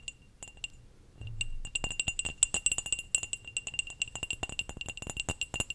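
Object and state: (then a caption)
Clear glass cup. A small, hollow, empty clear glass cup is held in the hand and tapped and clinked with long nails. After a quiet start, a rapid, uneven series of sharp, bright clinks follows, each giving a brief high ring that dies away almost at once, over a faint low rumble.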